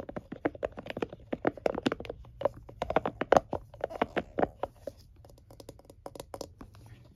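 A plastic and silicone scalp massager is held in both hands while fingertips and nails tap and flick its silicone bristles. The result is a fast, irregular patter of short, dry, mid-pitched clicks and snaps with little low end and almost no ring, growing softer and sparser toward the end.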